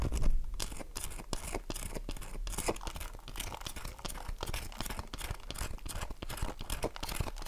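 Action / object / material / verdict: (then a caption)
scrape / bar of soap / soap / none. Long nails scratch the surface of an unwrapped, palm-sized, light blue oval bar of dry soap held in one hand, flaking shavings off it. The result is a steady stream of rapid, crisp scratching and crunchy strokes over a low rumble, loudest at the very start.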